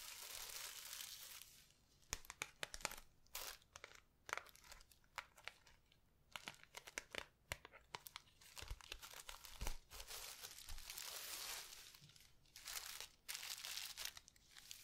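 A clear plastic package of red tinsel with a red cardboard header is held close and scrunched and scratched with long red nails. The plastic gives off bright crinkling and tearing-like rustles, with steady stretches of scrunching between many short, sharp crackles.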